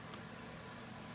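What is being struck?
Nothing is struck.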